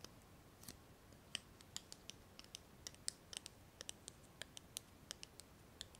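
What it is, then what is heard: Glass candle jar, nail taps. Long nails tap and scratch the sides and rim of a small, clear, lidless glass candle jar filled with solid pink-purple wax. About two dozen quick, bright, dry clicks land at irregular intervals over a faint, hissy background. Each one dies away instantly with no ringing.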